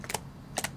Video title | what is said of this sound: PRIMERS: Hits & Misses for Oily/Combo Skin | It's as if it's like there's a lot of oil in it and it separates from the thick consistency